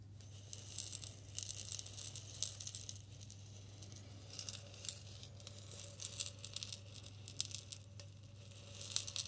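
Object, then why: Glass bottle partly filled with salt. A clear glass bottle with a green label, partly filled with pink salt, is tilted and shaken by hand. Bright, gritty rattles and crisp ticks of salt grains against the glass come in uneven bursts. A steady low hum runs underneath throughout.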